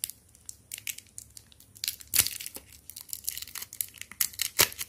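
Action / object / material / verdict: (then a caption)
scrape / chocolate bar in plastic foil wrapper / plastic foil / none. A small, flat, full KitKat chocolate bar in a red plastic-foil wrapper is held in both hands while fingertips squeeze and crinkle the wrapper, then tear it open at the end to show the foil inner lining. Bright, dry crinkling and crackling comes in quick, irregular bursts, with a few louder, sharper rips standing out.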